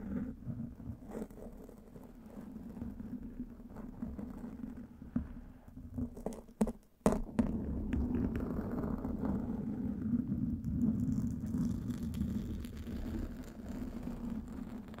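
Fingertips and nails of both hands scratch a black foam windscreen, soft and porous, covering the hard body of a studio microphone. The result is a dense, muffled scratching and rumbling centered low around 200 Hz. It briefly drops out with a few sharp clicks near the middle, then continues fuller and louder to the end.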